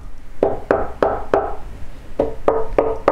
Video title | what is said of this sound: Акустическая система Microlab Solo 2 mk3 спустя 10 ЛЕТ! Просто компьютерные колонки? | Корпус колонок, он сделан из МДФ, причем все панели сделаны из МДФ. Это, в принципе, слышно даже на простукивании. Совершенно глухой звук.